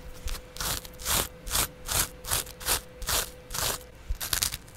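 A yellow porous foam kitchen sponge, held in the hand, is scratched with a double edge razor blade held by fingers with long nails. It gives a series of bright, rasping scratch strokes about every half second, each rising and fading quickly over quiet gaps. A faint steady tone sits underneath throughout.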